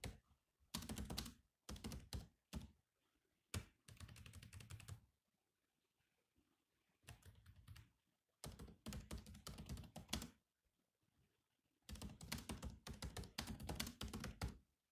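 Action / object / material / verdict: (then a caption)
tap / plastic laptop keyboard keys / plastic / none. Fingertips type on a grey laptop's black plastic keyboard, producing bursts of fast, light clicky keystrokes with some heavier thunking key strikes, separated by short pauses. The clicks are dull and mostly low-weighted, with a bright tick on top, and each dies away almost at once.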